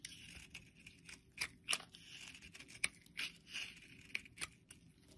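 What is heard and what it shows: A blade scrapes and cuts into a solid light-blue bar of soap held in a hand, shaving off brittle chunks. The sound is quiet, with bright, dry crunching and scraping in short bursts. Sharp crackles and snaps stand out as pieces break away.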